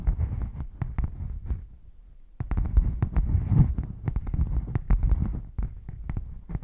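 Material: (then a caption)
Faux leather. Fingernails scratch and tap the edge and underside of a hollow, closed red padded faux leather zip case held flat and tilted. Many quick, dull, low thumps sit over a soft scratching rustle, each tap fading fast. There is a brief quieter stretch of light scratching before the tapping picks up again.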